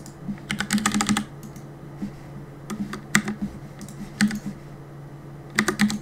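Fingertips type steadily on the keys of a black plastic Cooler Master compact mechanical keyboard with a hollow body, resting on a wooden desk. Bursts of quick, bright clacking keystrokes with a hollow low thock come in short clusters separated by brief pauses, over a faint steady low hum.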